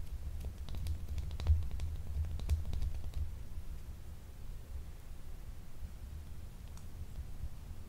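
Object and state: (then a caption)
Solid bar of soap tapped and scratched with nails. A small, solid, translucent blue gemstone soap bar, unwrapped and held in the hand, is scratched and tapped with long nails. Soft, irregular clicks and scratchy taps sit over a steady low rumble, busiest in the first three seconds before settling into quieter scratching.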